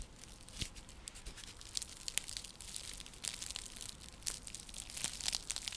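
Long nails scratch across a round, flat, coiled woven straw or seagrass coaster used as a trivet. The result is a dry, crinkly rasp that is mostly bright and high, with frequent short, sharp scratches standing out from a steady, soft scraping texture.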